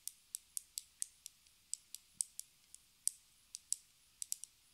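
A small pink rectangular plastic lipstick case, held horizontally, is tapped with long red nails. Seventeen sharp, bright clicks come at an uneven pace, each dying away almost instantly, with nearly all of the sound high up and no low body.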